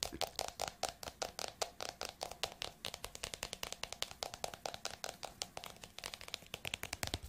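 A green and yellow paper notebook with a glossy cover is held in one hand while fingertips and nails tap its cover and edges. About fifty quick, dry, bright taps come in an uneven stream, each clicking off almost at once with little low end.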